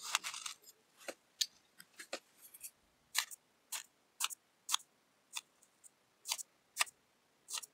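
A thin wooden skewer repeatedly pokes holes into a flat, solid molded disc of orange kinetic sand that is already cut into quarters and surrounded by crumbled sand. About 18 short, crisp, bright crunching pops are heard, each dying away almost at once, with quiet gaps between them.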